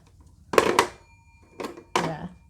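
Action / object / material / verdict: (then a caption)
shake / vintage telephone with metal ringer bell / metal / none. A vintage landline telephone with a metal ringer bell is shaken, and the bell jingles in four short metallic bursts, showing the ringer is present. The phone still does not ring on incoming calls, although a call test showed it connects.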